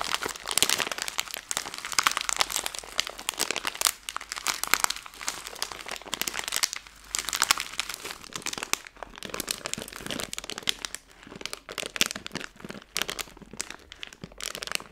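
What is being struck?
Plastic film candy bag.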